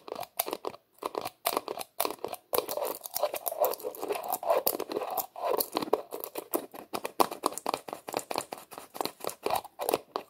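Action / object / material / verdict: scrape / plastic screw lid on a small plastic tub / plastic / none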